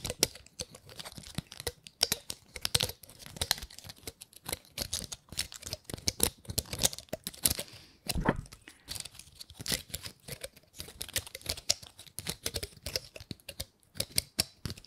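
Long nails scratch and flick the scales of a dry, gold-painted pine cone. The result is a dense run of rapid, bright, crackly clicks and scrapes with very short, dry snaps and almost no ring. The clicking comes in uneven bursts.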